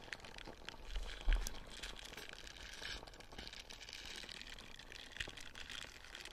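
Fingers scratch and rub the ridged nubs of a small light-blue silicone dish scrubber held close to the mic. The result is a steady, bright, crinkly scratching over a low rumble. Louder crunchy bumps stand out near the 1.3- and 5.2-second marks.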